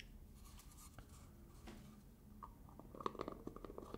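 Fingertips and nails tap and scratch the top and sides of a black plastic screw lid on a medium black plastic hair gel jar with a green label. Quiet, soft scratching gives way to sharper, clicky taps in the last second and a half, each with a brief, hollow ring.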